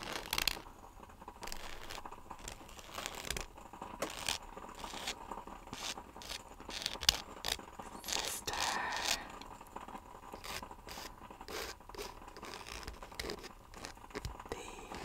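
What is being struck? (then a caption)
Paperback book with glossy paper cover. The glossy paper cover of a solid paperback novel, held in one hand, is traced and scraped with the thin quill end of a feather. The result is a bright, dry, crinkly scratching made of many short strokes with almost no ring, with a louder scraping swell in the middle of the clip.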